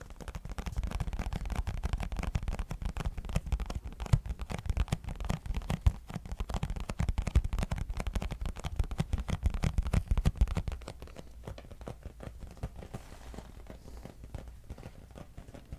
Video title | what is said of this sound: Tap Yourself To Sleep - ASMR (Extreme Box Tapping) | This box still contains the tea, so it creates a different sound